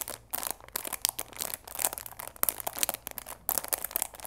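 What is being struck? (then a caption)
Cardboard tea box in plastic film. Fingers squeeze and crinkle the clear plastic film at the sides of a cardboard chamomile tea box wrapped in cellophane. Dense, bright crackling and crunching comes in bursts, with short quiet gaps. The crinkles stop abruptly, with almost no low end or ring.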